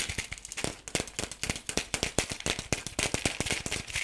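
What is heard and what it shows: Fingertips and nails tap and scratch the surface of a hollow, palm-sized yellow plastic toy ball with pink spots. The result is a rapid, irregular string of short, dry, bright clicks with a rattle-like texture.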